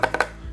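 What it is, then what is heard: Hollow plastic toy throne. Quick taps on the hollow plastic throne of a Super7 SilverHawks Mon*Star figure set give short, hollow knocks centered around 1.5 kHz that die away almost at once. The throne is hollow so the piece isn't too heavy, though its plastic is thick at the edges and reinforced by solid parts.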